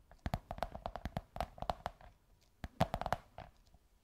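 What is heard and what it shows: Long white nails scratch and tap on a beige kraft cardboard tube. They make a quick, irregular run of short, dry taps with a hollow tone near 660 Hz, with a pause in the middle before a louder cluster. Faint scratching fills the gaps.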